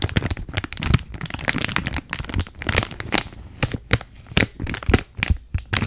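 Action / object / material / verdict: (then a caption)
scrape / plastic bag of small beads / plastic / none. Long nails squeeze, crinkle and scratch a clear plastic bag of purple beads with a card header, held close to the mic. The result is a dense run of dry, crackling crinkles with sharp bright snaps and soft low thumps in between, each crack stopping almost at once.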